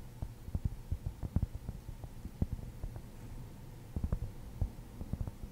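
A large rounded cork object, likely a cork ball, is held close to the mic and scratched and tapped with long nails and fingertips. The result is a quiet series of soft, dull, low thumps with almost no high end, each dying away at once over a faint steady hum.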